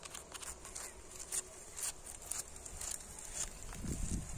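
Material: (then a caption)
Brick. Fingertips and nails tap and scratch across the faces of an old, solid, weathered red brick wall with some whitewashed bricks. Quick, irregular, dry taps mix with bright, gritty scraping. A low rumble swells near the end.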